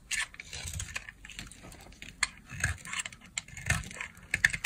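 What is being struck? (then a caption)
Bar of soap cut with a blade. The remaining piece of a solid lilac dry soap bar, held in the hand, is cut with a utility knife blade. A quick series of dry, crisp scrapes and sharp crackling snaps is heard, bright in tone with almost no low end, and each cut stops short with no ring.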